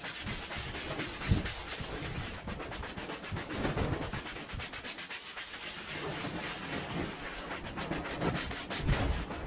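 A small, dirty, fringed and patterned woven textile rug lies on a wet floor and is scrubbed with a dark handheld bristle brush, spreading soap foam across it. The result is a steady, wet, rasping scrub made of rapid back-and-forth strokes with a heavy low-end rumble, with a few louder strokes standing out.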